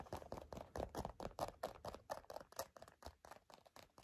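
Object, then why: Leather wallet. Long nails tap and scratch a black leather wallet in quick, uneven succession, making short, dry, quiet clicks with soft scraping in between. The taps sit in the midrange and die away almost at once.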